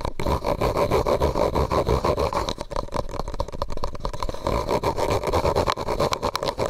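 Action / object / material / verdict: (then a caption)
scrape / thin disposable plastic cup / plastic / none. A medium white disposable plastic cup, hollow and empty, is held over the microphone and tapped and scratched with fingernails. Quick, uneven taps and scrapes run throughout with a hollow, boomy resonance, easing briefly in the middle before picking up again toward the end.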